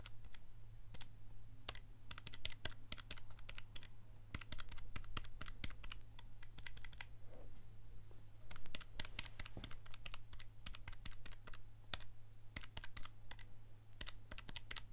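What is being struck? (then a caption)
Plastic calculator keys. Fingertips press and click the number keys of a handheld black plastic scientific calculator with a hollow casing, held in the other hand. Quick, irregular bursts of short, bright clicks come in clusters with brief pauses, over a steady low hum.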